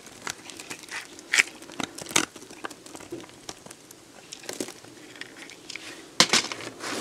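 A metal box-cutter blade scrapes a solid, dried, hand-sized beige soap bar, shaving off flakes that fall onto soap chips below. The sound is a run of dry, bright crackling and crunching scrapes with brief sharp peaks and almost no low end.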